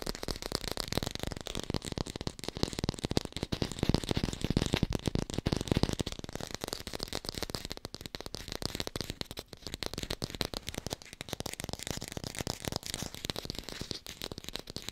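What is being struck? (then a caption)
Artificial apple, plastic or foam. An artificial green apple held in one hand is fast-tapped with long pink nails. A rapid, dense stream of short, dry clicks and soft hollow knocks runs throughout, with a low body under a bright edge. It grows louder around the middle and then settles back to a steady patter.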